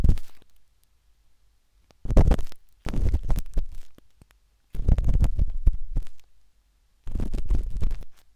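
The metal tip of a wooden-handled dot stick scratches inside the ear canal of a pale pink, soft and solid silicone ear on a binaural microphone. It makes five bursts of close, muffled scraping and rumbling, deep and boomy with almost no high end, separated by silent pauses.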